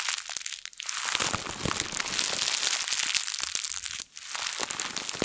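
A thin printed plastic bag is crumpled and squeezed in both hands with long nails. It makes a dense, bright crinkling and crackling that runs almost continuously, with brief lulls just before the one-second mark and around four seconds.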